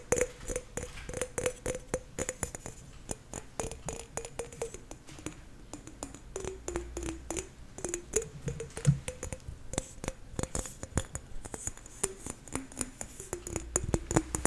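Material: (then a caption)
Apple. Fingernails tap quickly and steadily on the skin of a whole green apple held close to the mic. Each tap is a short, crisp click with a soft, low body. The taps die away almost instantly and sit over a faint, steady background hum.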